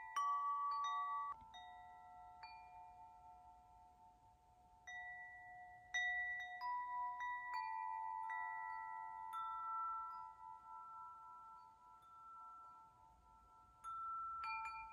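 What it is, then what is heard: Metal tube wind chime. A long, hollow metal tube wind chime hangs by its string while a hand taps the tubes so they ring together. Clear, bell-like tones around 1.1 kHz overlap and sustain, with bright shimmering overtones. Each new tap adds fresh notes over the fading ring of the previous ones.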